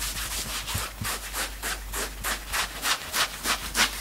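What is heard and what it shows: Both hands quickly scratch and grab the grey chest fabric of a worn two-tone knit sweatshirt with their fingertips. The result is a fast, fairly steady run of bright, hissy rubbing strokes that swell and fade one after another, with little low end.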